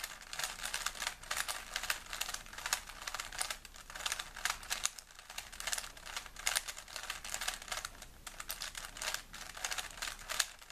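A small, solid plastic 3x3 Rubik's cube is held in both hands while fingertips rapidly twist its layers, producing a dense, continuous stream of sharp plastic clicks and rubbing. The sound is bright and crisp, with very little low end, and rises and falls in quick bursts throughout.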